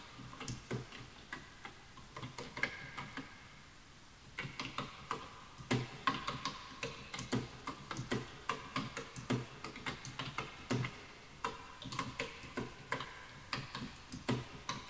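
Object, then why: Bamboo wood computer keyboard. Both hands type rapidly with their fingertips on a full-size bamboo wood computer keyboard with wooden keys, while the mouse sits untouched. A steady stream of short, dry clicks and taps sounds with a woody ring around 1 kHz, some low thuds from keys bottoming out, and a brief pause near the four-second mark before the typing resumes.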